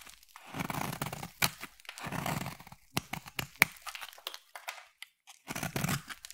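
A solid black bar of soap held in the hand is carved into thin flakes with a utility knife blade. Bursts of dry, crinkly shaving and scraping alternate with sharp, bright clicks and short pauses as each flake peels away.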